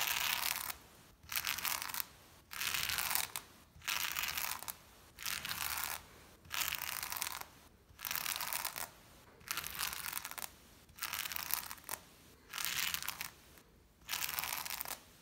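A small blue-handled brush block is rubbed quickly back and forth over a brown and black patterned shag pile rug. It makes bright, scratchy bristle-on-pile swishing in repeated bursts, separated by short silent pauses.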